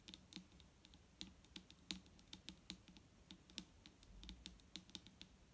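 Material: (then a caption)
Plastic. Long nails on both hands tap fast on a large, clear plastic micellar water bottle lying flat and full of liquid. The result is a quick, uneven patter of bright, crisp clicks, each with a soft, low, hollow thump beneath it, and every tap dies away almost at once.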